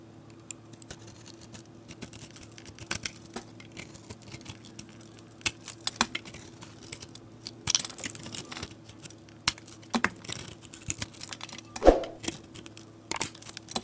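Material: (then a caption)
Soap. A solid, hand-sized soap bar coated in pink and blue glitter is held in the hand and scraped and carved with a metal box-cutter blade, with flakes peeling off. Soft, crisp scratches and small sharp clicks come in uneven bursts over a faint steady low hum. The strokes are short and dry, with a louder scrape near the end.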